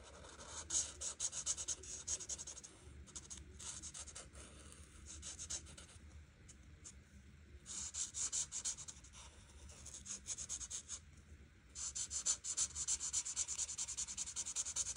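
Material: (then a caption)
Paper. An art marker, held close to a flat paper coloring book page, has its tip rubbed along the edge area of the page. Fast, scratchy strokes come in dense bright bursts, with a quieter stretch of lighter rubbing in the middle. The result is a dry, high hiss with almost no low end.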